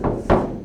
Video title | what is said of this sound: Training Video 4 Install of hush kit material as well as other tips on preparing for the install. | you can hear the difference that it makes just by tapping on the skin back here in the tail section where there's no insulation material